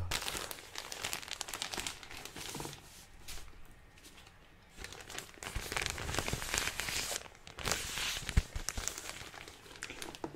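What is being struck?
Plastic clothing packaging bag with soft contents.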